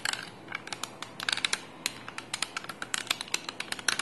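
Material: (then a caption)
Plastic. A small handheld yellow plastic sticky-tape dispenser holding a roll of tape is held in both hands and handled with fingertips and nails. Around 25 quick, dry, bright clicks and taps ring out in an irregular stream, each dying away almost instantly. Faint low background hiss sits underneath.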